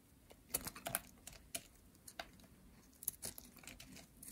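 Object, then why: Bar of soap carved with a metal blade. A metal utility blade scrapes and carves a green, solid, dry soap bar. The result is a quiet, irregular series of short, crisp, bright scraping clicks with soft rustling between them.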